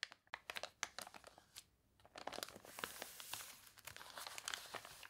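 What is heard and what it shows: A thick, glossy paper toy catalog with pages gone wavy from water spraying lies open on a table while long dark nails and fingertips scratch, press and turn its pages. Bright, dry crinkles and sharp scratchy ticks come in quick bursts, with a denser rustling stretch in the second half as a page is turned.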